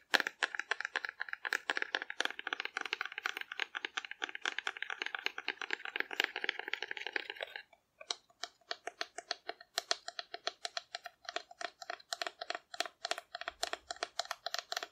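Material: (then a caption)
Cardboard. A hollow painted cardboard dinosaur figure is rapidly tapped with long nails, making a dense, dry clatter of crisp clicks with a bright, papery edge for about seven seconds. After a brief pause, the tapping resumes as slower, more separated taps with a slightly lower, hollower tone.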